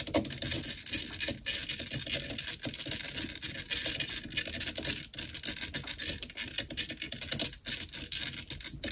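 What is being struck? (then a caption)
Metal mesh microphone grille. Long nails scratch and tap fast on the black metal mesh grille of a blue desktop microphone. A dense, bright, scratchy rasp with rapid clicking taps runs steadily through the clip, with only brief dips between bursts.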